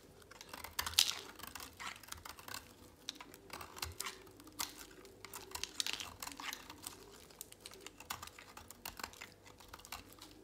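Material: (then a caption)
Soap. A utility knife blade shaves a thin remaining piece of dry, solid pink soap held in a hand. A rapid series of crisp, dry scraping and crackling strokes sounds bright and papery, with almost no low end and each flake dying away almost instantly.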